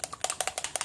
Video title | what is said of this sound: DIY Shimmer Paint Mist - Rose Gold Shimmer Spray - Make Your Own Shimmer Spray for Crafting | there's actually a bead in here